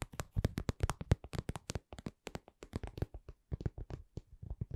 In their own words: 01:13 Cosmetic pouch